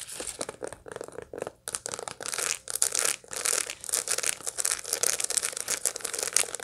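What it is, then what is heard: Dried sunflower head with seeds. Long light-blue nails scratch across the seed face of a dried sunflower head held in the hand, its green bracts still attached, with the bract edge briefly handled. The sound is a dense run of short, dry, bright crackling and rasping strokes with almost no low end. Each scrape dies away instantly, with no ring.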